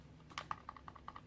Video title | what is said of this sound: Ka-Bar BK-7, ESEE RB3, and Silky Gomboy sheaths | there is a tiny bit of play. If you shake it, you can get a little bit of a rattle out of it